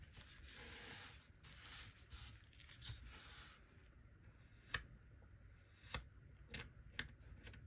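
A small, solid mound of golden kinetic sand on a wooden-look table is sliced and scraped with a small plastic knife held in a gloved hand. The first few seconds are soft, crumbly, bright scraping and cutting sounds, followed by a quieter stretch broken by a few short, sharp clicks of the knife.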